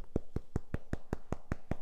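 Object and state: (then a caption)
Hollow cream puff. Fingers tap freshly baked choux cream puffs (bignè) from the air fryer close to the microphone in a steady run of evenly spaced taps. Each tap gives a soft, dull, low thump that dies away almost instantly. The puffs sound hollow, and they are empty and airy inside.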